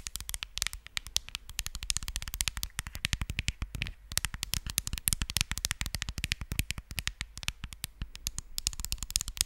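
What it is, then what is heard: Smartphone glass screen tapped with nails. Long nails tap rapidly on the glass screen of a smartphone held sideways over the microphone. The result is a fast, continuous stream of sharp, bright clicks, each with a short low thump and almost no ring, holding a steady pace throughout.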